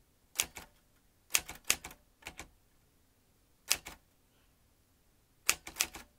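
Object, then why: Metal manual typewriter. Fingertips type on the round keys of a vintage metal manual typewriter with fanned typebars and a ribbon spool. Bright, sharp clacks come in short bursts separated by quiet pauses, each strike dying away almost instantly.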